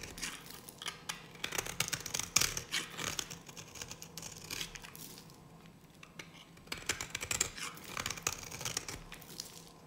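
A solid, dry yellow bar of soap held in the hand is carved with a metal blade. Bursts of crisp, bright scraping and crumbly cutting sounds come in quick, uneven strokes, with a short quieter stretch in the middle before the carving picks up again.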